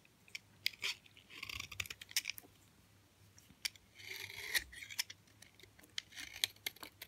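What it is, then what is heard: Hard, dry bar soap. A utility knife blade carves and scrapes chunks off a solid white bar of hard, dry soap held in the hand. Sharp, bright clicks and crisp cracks of the blade biting in are interleaved with longer rasping scrapes as the blade drags across the surface. The sound is quiet, with almost no low end and very little ring.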